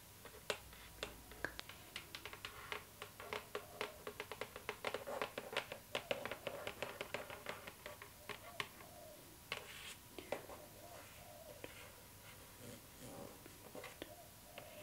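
Long nails tap and scratch the lid of a hollow, rectangular cardboard gift box with a glossy floral print. Quick, dry, bright clicks come in dense irregular bursts, with a faint scratchy rasp and a papery mid-range resonance around 560 Hz. The clicks grow sparser and quieter toward the end.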